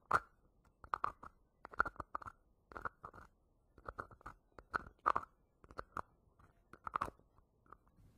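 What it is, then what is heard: Plastic hair wax jar. Fingertips and nails tap and scratch the screw lid and sides of a small round green-and-yellow plastic jar of Fructis hair wax held in the hand near the microphone. Quick, dry clicks and short scratchy bursts come in uneven clusters, each dying away almost instantly, with a hollow plastic tone around 1.4 kHz and little low end.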